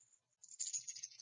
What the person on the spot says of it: you listen to it, and it has a slightly different sound to it